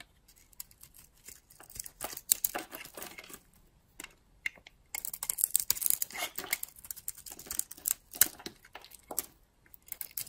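A utility-knife blade carves and scrapes a solid, dry oval bar of soap with a red shell and lilac interior, held in a hand with long nails. The result is quiet, crisp, bright scraping and crackling in uneven bursts, growing denser and louder in the second half.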